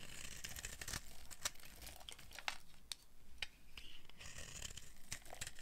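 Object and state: Dry soap bar being carved.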